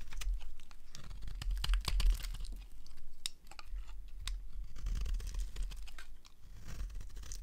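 A small blade carves curled strips from the edge of a solid, rectangular, darker-green dry bar of soap held in the hand. The sound is a steady series of crisp, dry scraping and crunching cuts over a low background rumble, with sharp clicks and brief bright shaving noises.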